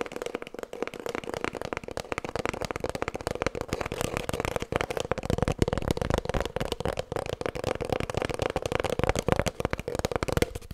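Long nails rapidly tap and scratch an empty, hollow cardboard kitchen roll tube held horizontally. Dense, fast, dry clicks and scrapes carry a steady hollow midrange resonance around 500 Hz, with each tap dying away almost instantly, through the whole clip.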